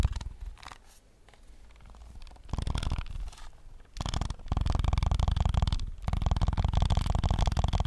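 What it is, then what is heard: Plastic game controller. A white and black PS5 DualSense controller, a handheld hollow plastic shell, is tapped quickly with fingertips and short nails right in front of the mic. The rapid taps give dull, low, thumpy knocks with short clicky edges; they start soft and sparse, then turn loud and dense in fast bursts over the second half.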